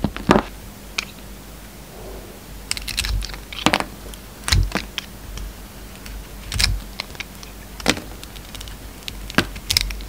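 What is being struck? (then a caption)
Bar of soap cut with a knife. A yellow utility knife shaves the glossy red outer layer off a solid oval soap bar with a peach core. Short, crisp scraping and crackling cuts come in irregular bursts, some bright and sharp, over a quiet low steady hum.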